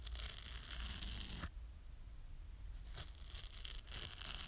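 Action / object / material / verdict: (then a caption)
scrape / foam kitchen sponge with abrasive scouring layer / foam, abrasive pad / none. Long nails repeatedly scratch the green abrasive side of a small yellow foam kitchen sponge with a scouring layer. The result is a bright, dry rasping scrape over a low rumble, loud for about a second and a half, quieter for a stretch, then resuming in rough, uneven strokes.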